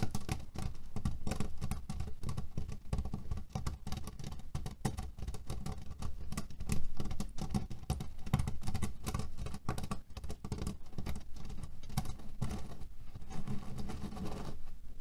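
Fingernails tap and scratch on a cotton canvas pillow filled with cherry pits. A dense, continuous patter of soft, rattling clicks runs steadily throughout, with a heavy, low, muffled body and little brightness.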